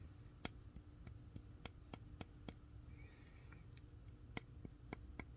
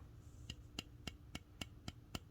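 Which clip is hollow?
The second.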